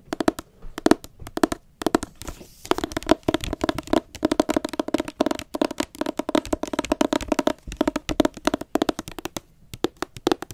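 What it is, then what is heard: Hardcover book. Long acrylic nails rapidly tap and scratch the glossy dust jacket of a solid blue hardcover book held in both hands. The result is a dense, uneven stream of short, dry clicks with little ring, centered in the low mids. Brief scratchy swishes fill the gaps between taps.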